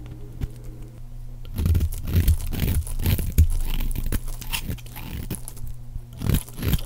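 A round, white, embossed bar of dry, solid soap is held in the hand and shaved with a utility knife blade, producing white flakes. After a quiet opening over a low, steady hum, dense crunchy scraping bursts follow one another quickly and irregularly, with a heavy low-end thump under each stroke and brief bright crackle on top.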